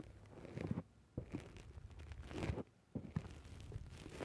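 Fingertips pinch and squish a black foam dome windscreen on a microphone, producing close, muffled crunching and crinkling rustles heavy in low rumble. The squishing comes in three stretches separated by brief silent pauses.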